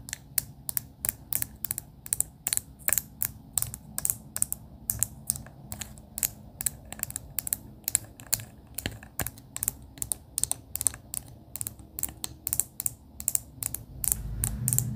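A hand-held clear plastic pen with a barrel filled with pastel beads and topped by a fur pompom is tapped on the barrel with long pink acrylic nails. About sixty quick, bright, dry clicks with almost no ring play in an irregular rhythm over a soft low rumble. The rumble swells near the end.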